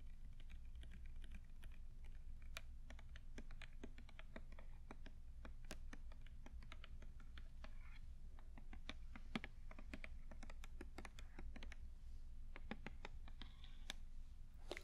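Long acrylic nails held in both hands tap and click on a hand-sized, dark blue soft hollow plastic body-lotion squeeze tube (Victoria's Secret Love Addict) that appears filled. The result is a quiet, steady stream of short, dry clicks with bright ticks, set over a low, constant hum.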